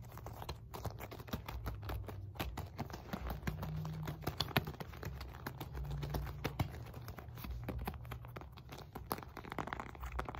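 A solid red and white stitched synthetic leather medicine ball, 4–5 lb, is rotated in the hands while fingernails tap and scratch across its panels. Rapid, dense taps and scratchy strokes overlap continuously against a low, steady hum.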